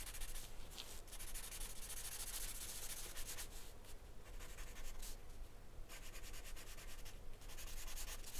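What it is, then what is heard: Pastel pencil scratching on drawing paper. A hand rubs and scratches short strokes with an orange wooden pastel pencil across a flat sheet of white drawing paper covered in charcoal, resting on a wooden desk. The clip is a steady, soft, scratchy rubbing with bright, hissy bursts that come and go over a constant low hum.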